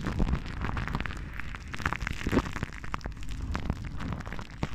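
A large silver microphone's hollow metal wire-mesh grille is scratched and rubbed with the long painted nails of both hands. This produces a dense, continuous run of crackling scratches and short taps that stays mostly low and boomy, with quick bright flicks. No hit stands clearly apart from the rest.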